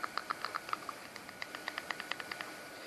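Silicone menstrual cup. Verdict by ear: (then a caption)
Plasticky. A Natural Mamma menstrual cup, made of medical grade silicone that feels like Meluna's TPE, is handled and squeezed in the fingers. It gives a quick run of about 19 short, light, high-pitched clicks and crinkles with almost no ring. The cup sounds plasticky, much like the Flare cup.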